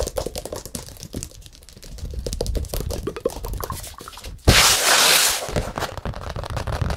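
Fingertips tap rapidly on the back and edges of a large, hollow stretched canvas painted in acrylic with a Buddha and a yellow moon, held tilted by its edges. The result is a fast, uneven stream of dry taps with a soft low thump. Midway through, a loud, bright, hissing scrape bursts in for about a second before the quieter tapping resumes.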